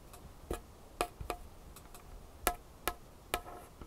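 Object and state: Wooden tabletop.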